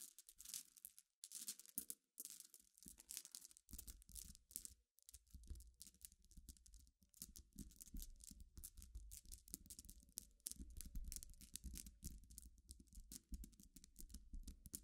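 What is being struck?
Small glass pebbles.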